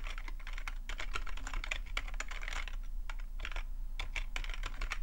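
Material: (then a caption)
Plastic. Fingertips type continuously on a full-size black plastic membrane keyboard with a hollow plastic body resting on a fuzzy rug. The result is a steady stream of quick, dry plastic taps and clicks centered around 2.4 kHz, with bright edges over a constant low hum.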